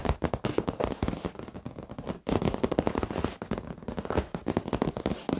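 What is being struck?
Padded leather office chair.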